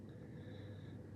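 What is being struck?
Nothing is struck.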